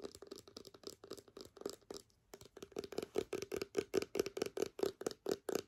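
A small, clear, partly full plastic hand sanitizer bottle is tapped, scratched and turned in the hands with long nails. About thirty short, dry clicks and scratches come in irregular bursts, each with a hollow plastic tone near 420 Hz and bright edges. After a brief pause near the two-second mark, the taps return louder and more evenly spaced.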